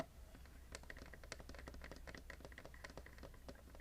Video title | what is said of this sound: Tingle Sess: Bag & Box - ASMR - tapping, crinkles, soft spoken | this box is actually a spice box